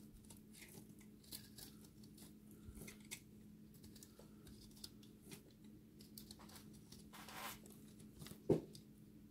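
A solid, dry recycled soap ball with a cut face showing an orange and blue core is held in the hand and shaved with a utility-knife blade. Quiet, scratchy scrapes and soft crumbling ticks come over a steady low hum. A sharper, louder crack stands out near the end.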